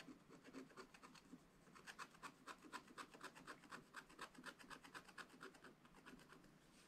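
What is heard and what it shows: A wooden stylus scratches stripes onto a clownfish on a black wax-coated scratch-art paper page in a spiral book. It makes a quick, fairly steady run of short dry scraping strokes, about four per second, with a rasping tone centered near 1 kHz and a faint bright hiss. The strokes grow louder and crisper partway through, then ease off slightly toward the end.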